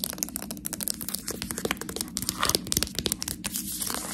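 Long nails and fingertips crinkle, scratch and tap on the plastic film of a sealed package of Priano cheese tortelloni that is full of pasta. Dense, bright crackles and sharp little ticks run steadily throughout, with no ring after each touch.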